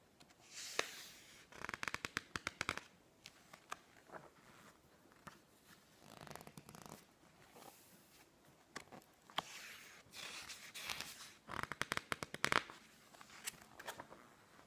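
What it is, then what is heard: Glossy paper magazine. Fingertips squeeze, rub and slowly flip the pages of a thick, open glossy paper magazine resting on a wooden table. Soft, bright swishes of sliding paper alternate with bursts of sharp, crisp crackles and ticks as each page bends and turns. Between the page turns the paper falls nearly silent.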